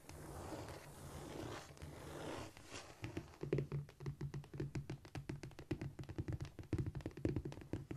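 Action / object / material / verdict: tap / cork floor / cork / none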